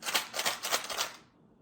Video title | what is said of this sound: FUN Easter EGG Surprise - PRESCHOOL LEARNING VIDEO - Toddler Learning | That makes a lot of noise.